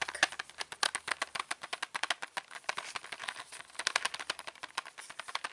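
A flat printed cardboard box holding 36 colour pencils, hollow and full of pencils, is held up and rapidly tapped and scratched with fingertips and nails on its printed back and front. Dozens of short, dry, crisp taps and scratchy rubs follow in quick succession, bright and papery with almost no low end. Each one dies away almost instantly.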